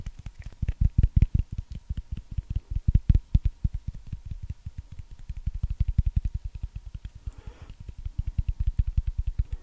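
A small, solid, breaded fried chicken nugget is held in the fingers and tapped and scratched with long manicured nails close to the microphone. Rapid, dull, low thumps follow one another steadily, each dying away almost at once. A brief, softer scratching rustle comes near the end, over a faint steady tone.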